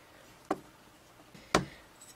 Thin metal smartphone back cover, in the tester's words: you can hear that it's actually metal and not plastic as found on a lot of other smartphones out there